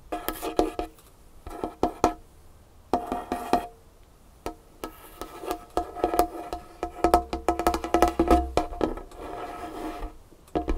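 A large solid dark-wood tabletop is tapped and scratched with long fingernails. Bursts of quick, dry wooden taps, some with a short hollow ring, come in clusters with brief quiet gaps between them. Softer scratching fills the stretches between the bursts.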